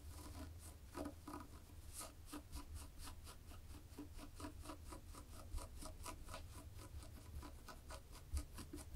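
Long polished fingernails scratch a black-and-white textured knit fabric laid flat, making a steady run of quick, dry scratching strokes. The strokes are soft and bright over a low, constant rumble, with a couple of slightly louder scrapes.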